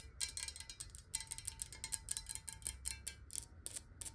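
Long nails on both hands tap fast on the sides of a clear, square-sided glass water bottle that is hollow, partly filled with water and held upright. The result is a quick, uneven run of short, bright clicking taps with a high glassy ring that dies away almost instantly, over a soft low rumble.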